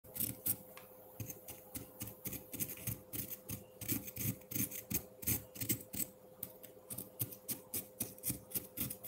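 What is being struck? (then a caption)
Frozen milk ice block scraped with a metal fork. A metal fork held in the fingers scrapes and shaves the surface of a solid block of frozen pineapple-milk ice in a white ceramic bowl with red and dark jelly pieces. Rapid, slightly irregular strokes, about three per second, each give a bright, crackly shaving rasp over a soft low thud. A faint steady hum runs underneath throughout.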